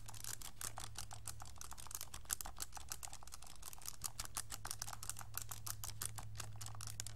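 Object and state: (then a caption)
Plastic calculator keys being pressed. A pink plastic graphing calculator is held in both hands and tilted at times while fingertips tap and press its keys. A rapid, steady stream of short, crisp, bright plastic clicks runs over a low, constant hum.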